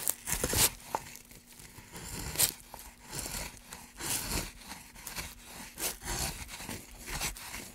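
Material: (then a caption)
Softwood. A wooden-handled gouge held in a gloved hand carves along the grooves of a long, solid, pale softwood block, with curled wood shavings piling around it. Irregular bursts of bright, dry scraping and tearing follow one another, with a faint steady low hum underneath.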